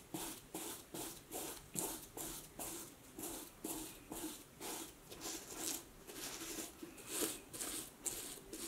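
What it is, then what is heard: Snakeskin leather boot rubbed with cloth. A dark knit cloth or sock rubs the scaly vamp of a vintage snakeskin leather cowboy boot, which stands hollow and empty on a wooden table while one hand steadies the shaft. Twelve separate, loosely timed swishing strokes are heard, each a bright, breathy scrape with a soft hollow body in the lower mids. The strokes fade quickly between passes.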